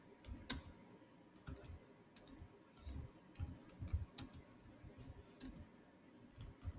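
Fingertips type and click on the solid black plastic chiclet keys of a silver Samsung laptop. The result is a quiet, irregular run of short taps, each with a dull low thud and a bright, crisp click that dies away almost instantly.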